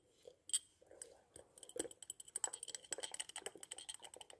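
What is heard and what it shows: Long natural nails tap and scratch the glazed surface of a small, solid white porcelain angel figurine with a pleated robe, held in the hand. Quiet, bright, dry clicks with faint scratching start out sparse, then speed up into a quick, steady run of taps that die away instantly.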